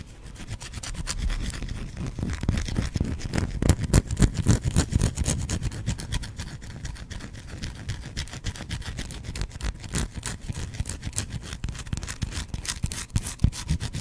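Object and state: Bar of soap scratched.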